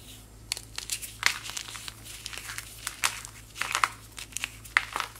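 A small, solid white chalk-like powder block is squeezed and crumbled between powder-coated fingers with long white nails, and the powder trickles down. Dry, bright crackling and crunchy snaps come in quick, irregular bursts of varying loudness, each dying away almost instantly.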